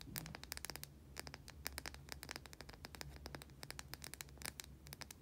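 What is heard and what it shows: A small white solid bar of soap, held in both hands, is scratched across its surface with long nails. The result is a quiet, rapid series of short, dry, bright scratching clicks over a faint low hum.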